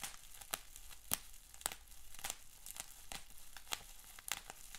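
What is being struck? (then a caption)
Plastic bubble wrap sheet. Fingers crinkle, scrunch and twist a large sheet of clear plastic bubble wrap with small bubbles. A steady, quiet, bright crinkling rustle runs throughout, broken by sharp, short crackling snaps at uneven intervals.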